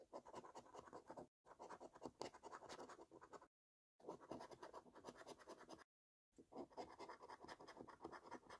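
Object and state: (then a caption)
Scratch card being scratched with a coin. A flat, thin printed paper lottery scratch card with a silvery latex scratch-off panel, lying on a surface, is scratched with the edge of a metal coin held in the fingers to remove the coating from the game boxes. Four bursts of dense, gritty rasping, strongest in the midrange, are separated by brief silent pauses. The card turns out to be a £500 winner.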